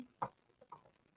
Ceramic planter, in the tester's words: you can hear it when you tap it a little bit